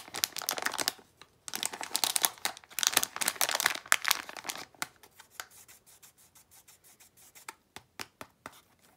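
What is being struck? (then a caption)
Small plastic foil bag with contents. A small plastic foil blind bag of Disney d-Licious Desert figures, with its contents inside, is rubbed and crinkled between fingers and long nails. Dense, bright crackling and crinkling fills the first few seconds, then thins into sparse, sharp clicks and ticks with quiet gaps between them.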